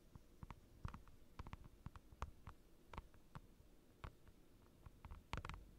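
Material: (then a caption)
Plastic. Fingertips and short nails of both hands rapidly tap a clear plastic desk mat, a large, thin, transparent, glossy sheet with curled edges lying flat on a dark desk, close to the microphone. About 19 quiet, short, dry taps are heard, each a soft low thud with a brief crisp click that dies away almost instantly.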